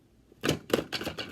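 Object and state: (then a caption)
Closed box holding wooden sand blocks. A closed Music Mystery Box holding wooden sand blocks covered with sandpaper is shaken, giving four dry, rattling clatters as the blocks knock about inside. Each burst is short and broadband with no ring, hiding the instrument while letting it be heard.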